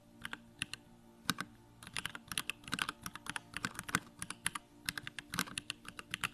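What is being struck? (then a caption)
Mechanical keyboard with plastic case and keycaps. Fingertips type rapidly on a small 65% Bakeneko65 mechanical keyboard with Durock Lavender switches, a plastic case, white plastic keycaps and the backlight on. Quick, bright, clacky keystrokes arrive in uneven bursts, each dying away almost instantly. A faint steady low hum sits underneath.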